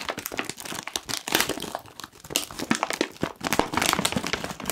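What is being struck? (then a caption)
Foil-lined plastic crisp packet. A medium-sized, foil-lined plastic Kettle crisps bag, puffed and apparently full, is squeezed and crinkled with the fingertips of both hands. The result is a dense, continuous run of sharp, bright crackles and crinkles that swell and fade in uneven bursts, with little low end.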